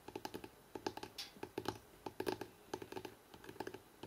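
Fingertips and nails on both hands fast-tap the spine of a thick hardcover book held in the hands. About 24 quick, dry, clicky taps come in uneven bursts, with a mid-pitched knock and almost no ring. A brief bright scratchy brush is heard early on.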